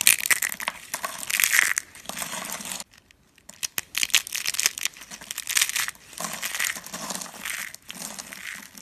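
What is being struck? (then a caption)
Soap curls. Fingers crush and crumble purple and green rolled curls of dry soap into thin flakes, producing dense, dry crunching and crackling bursts that are bright and high-pitched. The crunching comes in bunches with a brief near-silent pause around the three-second mark before it resumes.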